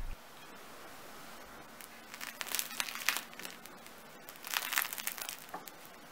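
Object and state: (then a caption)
Crispy bread crust. A freshly baked homemade bread loaf with a crispy crust, wrapped to rest after baking, is pressed and broken by hand. Its crust gives off bursts of sharp crackling and crinkling crunches over a quiet background.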